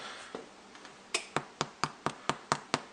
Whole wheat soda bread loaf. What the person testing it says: we want a nice hollow sound and that sounds good